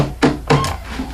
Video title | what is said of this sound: SDP Mail Call 11 27 17 | it sounds like plastic. Sounds like it's old garbage can or something.